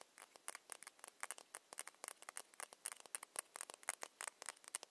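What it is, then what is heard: Ceramic cosmetic bottle. Long nails tap rapidly on a small ceramic foundation bottle with its cap on, making 29 quick, light clicks. The clicks are dry, bright and high-pitched with almost no ring and no low end, played quietly in an uneven pattering rhythm.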